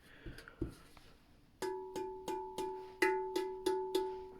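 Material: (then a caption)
Fired clay. A freshly fired ceramic pot, just taken out of the kiln, is flicked eight times in quick succession to check it for cracks, after a few faint handling knocks. Each flick gives a clear, bell-like ring around 375 Hz with a higher overtone, sustaining briefly between flicks. The pot sounds good, with no crack.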